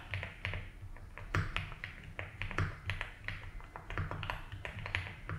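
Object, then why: Mechanical keyboard with plastic keycaps and case. Fingertips slowly type on a 75% mechanical keyboard with ABS keycaps in a light blue plastic case. Irregular, short clacky taps each stop almost at once, with a low thock around 94 Hz beneath a brighter click. A few strokes land louder than the rest.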